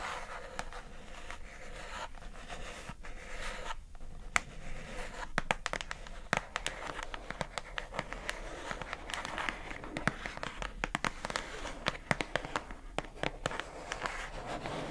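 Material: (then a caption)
Plastic. Long acrylic nails tap and scratch across the labeled face of a pink plastic food container box held upright. Quiet, steady scratchy rustling is broken by many sharp, bright clicks that stop almost instantly.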